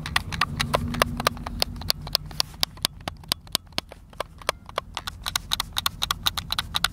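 A hand-sized, hollow white plastic Xbox controller is held in both hands outdoors while thumbs and fingertips rapidly press its buttons. About 38 sharp, bright clicks come in an uneven, quick stream over a low background rumble that is strongest early on.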